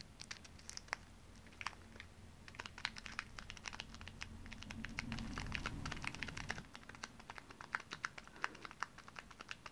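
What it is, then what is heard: Plastic pouch of dry water beads. A small plastic resealable zip-lock pouch full of dry water beads is held up and then laid flat on the palm while fingernails and fingertips tap quickly on its surface. The sharp, bright clicks come fast and unevenly, with crinkly plastic rustle and a soft low rumble underneath that swells in the middle of the clip.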